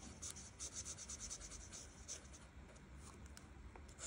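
A felt-tip art marker is rubbed over the petals of a flat paper coloring page, held by fingertips with long nails. Quick, bright, scratchy strokes with a soft rasp repeat in bursts over a low background hum.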